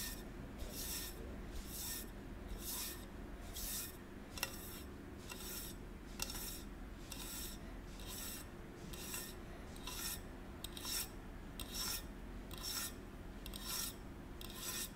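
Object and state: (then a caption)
Stainless steel water bottle rubbed. Fingertips stroke and rub along the smooth side of a hollow gold stainless steel water bottle, about 25 cm long, held in one hand with the cap on. Repeated soft, bright rasping swishes come at a loose, uneven pace over a low steady hum, each stroke fading almost at once.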